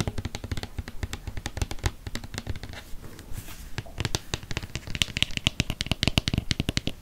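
A hollow white plastic Cien lotion bottle is held upright and tapped with fingernails on its body and cap. A rapid series of short, dry clicking taps with hollow low thumps runs throughout, with a brief quieter stretch in the middle before the taps grow louder again.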